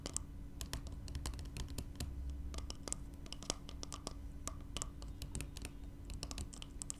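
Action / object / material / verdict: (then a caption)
tap / small glass spray bottle / glass / none. Long nails tap and scratch the glass body of a small glass spray bottle filled with yellow liquid, lying on its side. Quick, sharp, bright clicks come in irregular bursts with short scratching strokes, over a steady low rumble and a faint, constant tone near 290 Hz.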